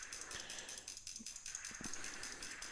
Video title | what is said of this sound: MSR Whisperlite International Stove - When & How To Use vs Propane Stove | hear the rattle of the uh the needle inside the jet cleaning it out